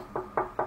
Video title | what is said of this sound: QUE LE SPECTACLE COMMENCE ! Zatanna 1/3 DX Prime 1 Studio nous surprend plus que prévue ! | ça fait le même bruit que du bois. C'est pas du bois, mais... Ouais. C'est de la résine